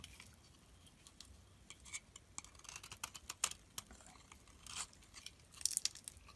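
A utility knife blade scrapes thin shavings off a hand-sized solid lilac soap bar held in the palm. Quiet, bright, crisp scraping and crinkly shaving sounds come in a quick, irregular series of short bursts, with almost no low end and no ring after each stroke.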